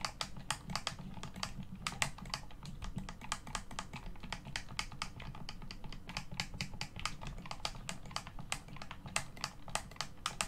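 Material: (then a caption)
Plastic. Fingertips and thumbs rapidly press the buttons and thumbsticks of a hollow black plastic Xbox One controller. The result is a steady run of dozens of sharp, bright clicks and taps, each dying away almost instantly. Beneath them sits a constant low rumble.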